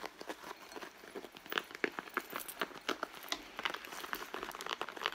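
Long blue nails scratch the stitched leather front and pocket of a hollow, medium red leather handbag lying on a mat. About two dozen quick, dry scratches and crinkly scrapes come in rapid bursts, bright and raspy with almost no low end. Each one stops at once with no ring.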